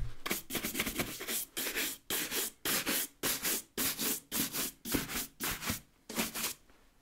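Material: Leather.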